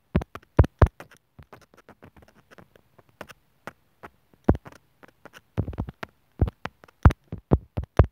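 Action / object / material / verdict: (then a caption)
tap / plastic earphone inline microphone remote tapped with a metal needle / plastic / none. A metal sewing needle taps and scratches the opening of a small white hollow plastic inline mic/remote on a white earphone cable lying on a wooden table. Sharp, low-heavy clicks and taps come in uneven bursts between stretches of faint, soft scratching.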